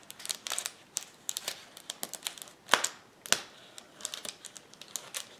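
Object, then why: Plastic bubble wrap sheet. Fingertips and nails press, pop and scratch the air bubbles of a flat, clear plastic bubble wrap sheet lying on a table. An irregular run of short, bright crackles and crinkles follows, with two louder, sharper pops standing out midway. Each snap dies away almost instantly, with almost nothing in the low end.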